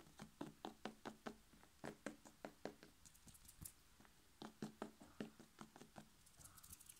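A whole, hollow red bell pepper is held in one hand while the fingertips of the other hand tap and knock on its side. Quick, light knocks come in two bursts with a short pause between them, each with a dull, hollow tone around 300 Hz and almost no ring. Faint, bright clicks and soft rustling fill the gaps.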